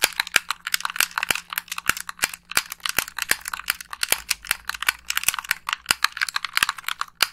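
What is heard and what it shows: Long pink nails press the buttons and tap the body of a hollow white plastic Xbox 360 gamepad. The result is a rapid, uneven series of sharp, dry clicks and taps, bright and crisp with almost no low end. Each click dies away almost instantly.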